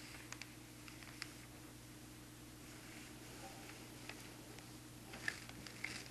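Fingertips and a black marker trace over the thin newsprint of an open newspaper lying on a table, one page curled up, and tap on it. Soft, scratchy rustling runs over a steady low hum, broken by short, bright taps at irregular moments. The taps come a little louder and closer together near the end.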